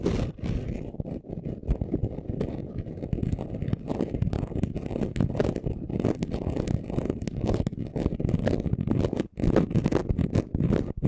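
Both hands quickly scratch a flat, thin, solid sheet of chunky gold and orange glitter craft paper laid on black cloth, using short natural nails and fingertips. The result is a dense, continuous run of fast, dry scratching and scraping with many sharp clicks, weighted toward low frequencies and with almost no ring after each stroke.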